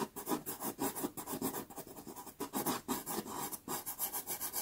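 A white pastel pencil tip hatches fast across a small, taped sienna Pastelmat card. A quick run of short, dry scratching strokes rises and falls in steady bursts, with a mid-range grainy rasp and a bright hiss on top.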